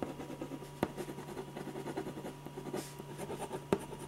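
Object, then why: Ballpoint pen on paper sheet. A silver metal ballpoint pen scratches quick shading strokes around the eyes and hair of a portrait drawn on a large white paper sheet resting on an easel board. The result is a steady, soft, dry scratching texture with a faint low hum underneath, broken by two sharper clicks as the pen strikes the paper.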